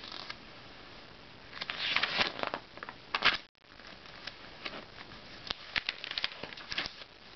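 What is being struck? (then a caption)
Glossy paper magazine. An open glossy-paper Self magazine has its pages slid along by fingertips and turned one by one. The sound is bright, crisp rustling and papery flicks with almost no low end, broken by a brief silent gap about midway. The page sounds then resume with sharper snaps.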